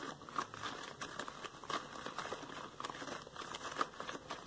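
Yellow latex rubber gloves worn on the hands are squished as the gloved fingers scrunch into fists, with loose rubber bunched at the fingertips. A steady, quiet crinkling and rubbing texture runs throughout, broken by a few short, squeaky chirps around 1.2 kHz and bright crackles.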